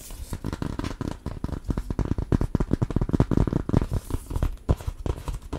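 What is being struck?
Hardcover cardboard children's board book.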